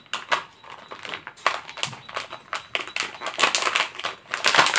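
A small, thin, clear disposable plastic cup, empty and hollow, is held in both hands and squeezed, tapped and scratched with fingertips and nails close to the mic. It gives a rapid string of crinkly, bright clicks and crackles that rise and fall in loudness throughout. The clicks are short and dry with little low end.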